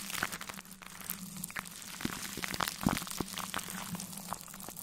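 A large synthetic brush, held in a black-gloved hand, sweeps over plastic cling film stretched across a metal mesh microphone grille. The result is dense, bright crinkling and crackling with sharp little ticks, over a steady low hum around 200 Hz.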